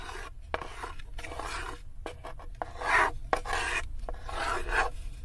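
A small, solid light-wood cube held in the fingertips is scraped back and forth across the floor of an empty, unfinished wooden tray, with long nails touching the wood as well. The result is a series of dry, rasping scrapes in short bursts separated by brief pauses, with small sharp clicks between strokes.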